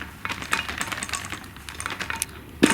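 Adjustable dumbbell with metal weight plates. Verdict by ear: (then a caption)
Loose. An adjustable dumbbell with metal weight plates is shaken, giving quick, light metallic clicks and rattles from its loose, moving plates, ending in one louder clack. This dumbbell makes more plate noise than the other one it is compared against.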